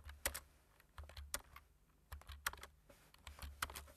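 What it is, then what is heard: Plastic computer keyboard. Fingertips tap the keys of a black-keyed plastic computer keyboard with a white frame while typing. The result is a quiet, irregular run of short, dry clicks, each with a soft low thump and a bright tick that dies away almost instantly.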